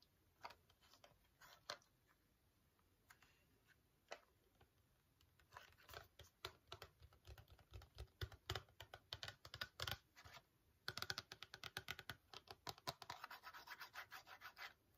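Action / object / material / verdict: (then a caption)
tap / small printed cardboard box / cardboard / none. Long fingernails scratch and tap the faces and edges of a small, hollow, printed cardboard box of teeth whitening strips. The result is a run of dry, crisp clicks and scratchy rustles, sparse at first, then denser and faster toward the end, with a bright, papery tone and no ring.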